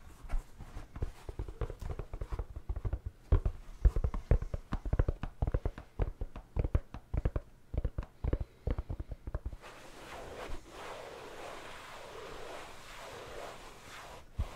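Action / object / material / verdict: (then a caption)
tap / felt hat / felt / none. Fingertips tap rapidly on the crown and brim of a medium black felt hat with a hollow crown, held in one hand close to the microphone, producing soft, dull, low thumps for about ten seconds. The tapping then gives way to a steady, breathy rubbing across the felt that gently swells and fades until the end.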